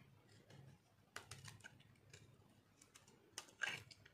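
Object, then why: Soap bar shaved by a metal knife. A metal knife shaves and cuts crunchy slivers from a solid, dry orange-yellow soap bar with green specks held in the hand. Quiet, dry, crisp scraping crackles and sharp ticks come in short bright bursts with little low end, and the loudest crunch lands near the end.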